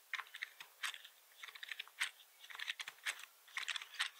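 Both hands rest on a black plastic computer keyboard with a hollow body and type with the fingertips. About two dozen quick, dry clicks come in uneven bursts and pauses, centered around 2 kHz and bright, with no low thump. Each keystroke dies away almost at once.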